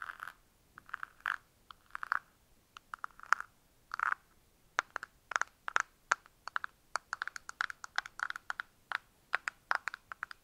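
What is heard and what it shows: A small, hollow, frosted translucent plastic box held in both hands is tapped and scratched with fingernails, giving dozens of quick, dry clicks and short scrapes. Each click centers around 1.4 kHz with a bright edge and dies away almost instantly, with no low-end body. The taps come in irregular bursts across the clip.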